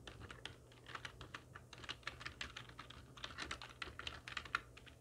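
A full-size black plastic computer keyboard with hollow keys, resting on a wooden desk, is typed on with the long nails and fingertips of both hands. A steady stream of quick, bright, clicky taps rises and falls with no pauses longer than a moment. Each tap stops almost instantly over a faint low hum.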